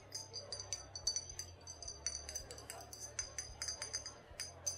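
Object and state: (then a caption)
Glass liquor bottle. A glass bottle of brown liquor, either whiskey or brandy, is tapped and handled, giving a rapid run of short, bright clinks that ring with a high glassy tone. Each tap decays almost at once over a faint low hum.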